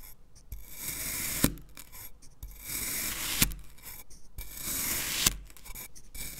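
A black knife cuts diagonal criss-cross lines into the surface of a solid green kinetic sand fish mold. Soft, gritty rasping strokes swell in repeating passes, each ending in a sharp, bright click.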